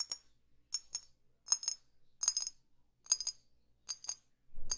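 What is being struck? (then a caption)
Small glass perfume bottle. A small, hollow, clear glass perfume bottle with a dark cap is tapped slowly with long fingernails. The taps come in sparse pairs and clusters, each giving a short, bright, glassy clink that dies away almost at once. A lower, duller rustle enters at the very end.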